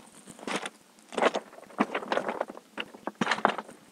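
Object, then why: Loose volcanic rock (andesite). Loose porphyritic andesite volcanic rock on top of a volcanic layer is disturbed, giving a series of bright, glassy clinks and crunches in several short bursts. The rock sounds really glassy.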